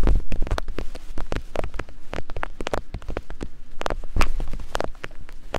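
Soft silicone binaural microphone ears are tapped and scraped rapidly with two thin wooden picks. A fast, uneven flurry of dull, low thumps and short clicks blends into a close, rumbling texture with brief scraping between taps.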